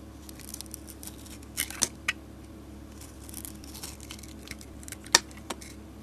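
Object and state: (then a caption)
Glitter soap bar being carved. A solid soap bar with a red glitter and silver coating over a green core, held in a hand with long nails, is carved with a utility blade. Faint, crisp scraping and crinkling runs through the clip, punctuated by a few sharp, bright cracking snaps as the blade cuts in, over a low steady hum.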